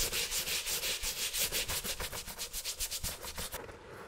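A wet, dirty leather Nike Dunk sneaker held in a gloved hand is scrubbed over the upper with a stiff-bristle handheld brush in quick back-and-forth strokes. Each stroke gives a bright, hissy, scratchy rasp, with a low thump now and then. The strokes repeat steadily and then fade to a quieter hiss at the end.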